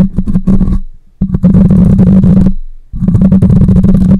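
Long nails scratch along the side of a black microphone's metal mesh grille. The close-up scratching comes through as dense, rumbling bursts dominated by low frequencies, with a steady low tone underneath. It plays in three sustained stretches separated by brief fades to quiet.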